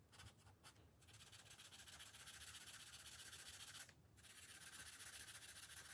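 A green felt-tip marker is rubbed back and forth over the thin paper page of an open coloring book resting on a glass table to fill in colour. The result is a quiet, continuous, bright scratchy rubbing with a rapid, somewhat uneven stroke rhythm, briefly easing just before the one-second mark and again near four seconds.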